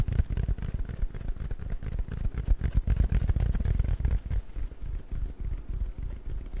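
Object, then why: Foam sponge. Fingers scratch and squeeze a round, palm-sized yellow porous foam sponge. The result is a dense, irregular stream of soft, dull scrunching thumps, about four per second, with almost all of the sound low and muffled. The texture stays steady for the whole clip.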